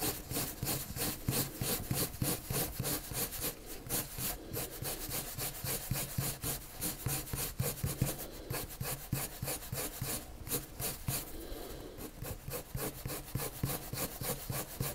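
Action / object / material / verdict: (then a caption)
scrape / colored pencil on drawing paper / paper / none. A pale colored pencil rubs repeated curved strokes across a flat white sheet of drawing paper. The result is a dense, steady scratching and rubbing, with quick strokes of about three per second and a bright, grainy edge over a soft low rasp.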